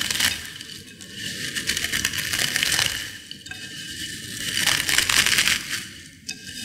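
Small potato chip fragments in a white ceramic bowl are crushed between fingertips and long nails. A dense, bright crackle and crunch swells and fades in three waves, made of rapid, uneven tiny snaps with little low end.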